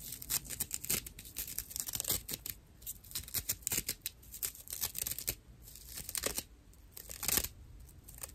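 A dry natural loofah pad of fibrous plant material is scratched with the long nails of both hands. The scratches come in dense, irregular bursts of rough, bright rasping and tearing-like crackle. Some strokes run louder and longer than others, with short quieter gaps between them.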